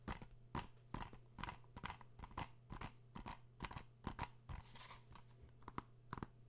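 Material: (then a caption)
Plastic. An Uncharted PS4 game case made of hollow plastic is held in the hands close to the microphone and tapped with fingertips and nails. It gives quiet, irregular, dry clicks with a bright edge, decaying almost instantly over a steady low hum.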